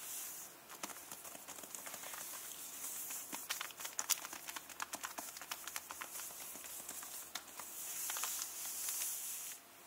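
Fingernails tap and scratch across the crinkly plastic jacket protector on a closed hardcover book. Quick, dry clicks and crackles come in an uneven patter over a steady, bright, hissy scratching. The sound is almost entirely high and thin, with no low end.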